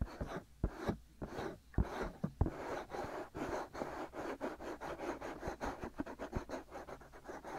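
Fingertips and short nails of both hands scratch both soft white silicone ear shells, hollow and ear-sized, of a binaural microphone. Dry, close scratching and rubbing is heard, with soft low thumps. It starts in a few separate strokes and then turns into a quicker, steady run of short scrapes.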